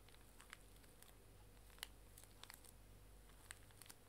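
Long nails scratch and pick at the wrapper of a full, small pink plastic-film pocket tissue pack near its sticker flap, crinkling the plastic. Quiet, bright crackles and sharp ticks come in scattered bursts over a steady low hum.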